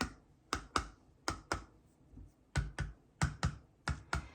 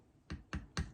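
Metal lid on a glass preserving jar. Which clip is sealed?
The first.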